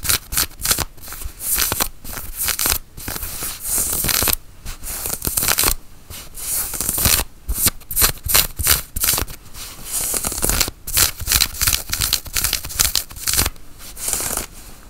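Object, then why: Cotton flannel shirt sleeve. Long nails scratch and rub the sleeve of a worn, dark grey cotton flannel shirt. The result is a run of dry, bright, rasping scrapes in quick bursts separated by short pauses.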